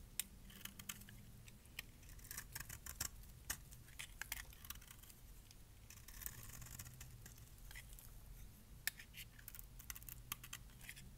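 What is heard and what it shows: A metal blade scrapes flakes off the surface and edges of a solid, light pink bar of dry soap. The result is a quiet, steady run of short, crisp, bright scratching clicks over a low background rumble, with a few sharper snaps standing out.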